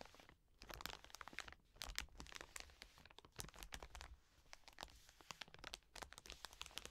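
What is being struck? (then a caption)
Soft plastic wet wipes packet. Long nails scratch and tap the soft plastic of a full wet wipes pack resting on a table. The result is a quiet, dense run of sharp, bright crinkling clicks and crunchy scrapes with no ring after each touch.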